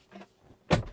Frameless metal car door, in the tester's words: it's got a bit of a tinny sound to it sounds a little bit cheap